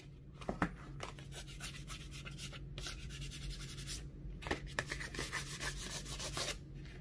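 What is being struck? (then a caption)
Kraft cardboard folder. Fingertips rub and scratch across the surface of a small, flat, rectangular kraft cardboard folder that is thin and light and held in one hand. The result is a steady, dry, papery scratching with repeated bright rasping strokes and a few sharper flicks, over a low, constant hum.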